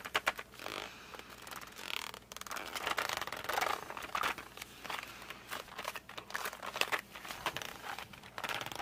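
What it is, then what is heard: Cardboard pencil box. A closed, flat cardboard box of 52 colored pencils is gripped with fingertips and thumbs, then fingertips are rubbed along its edge. The result is a quiet run of dry, bright scratching and crinkling textures with short squeaky rubs, with almost no low end.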